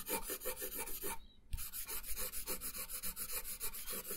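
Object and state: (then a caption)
Colored pencil on paper. A brown wooden colored pencil, held in the fingertips, colors a thin printed paper coloring page lying flat on a wooden table. About fifteen quick rubbing, scratching strokes give a steady bright rasp, with a brief pause near the middle before the strokes resume.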